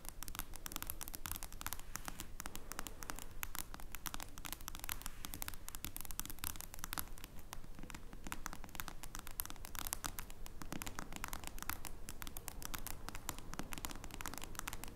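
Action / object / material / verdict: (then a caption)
tap / smartphone glass screen / glass / none. Long painted nails tap quickly across the glass screen of a face-up smartphone. The result is a steady, fast, uneven stream of tiny, dry, bright clicks that stop instantly with no ring, over a constant low hum at a quiet level.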